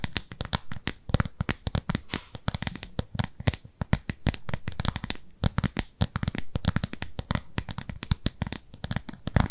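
A thin, translucent, frosted round plastic disc or lid is held in both hands while long nails scratch and tap its surface. Many quick, dry clicks and taps come in dense, uneven bursts with short scratchy rubs between them. Each hit is very short with almost no ring, and the sound is weighted toward low thuds.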